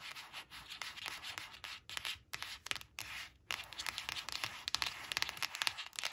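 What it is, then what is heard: Glossy cardboard flash card. Long nails trace, tap and scratch the surface of a thin, flat, glossy coated cardboard flash card printed with a picture of a black crayon, resting on a fabric cloth. Bright, dry scratching and rubbing strokes mix with quick, crisp taps. Short pauses break the steady rasp, with almost no low end.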